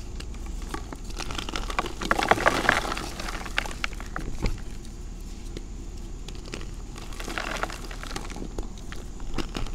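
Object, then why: Reformed gym chalk blocks. Bare fingertips with red nails squeeze, crush and rub solid, dry, crumbly blocks of red and pink reformed gym chalk in a white bowl, breaking them into chunks and powder. Dense, crackly crunching and gritty crumbling runs over a steady low rumble, with louder bursts of crushing around two to three seconds and again near seven to eight seconds.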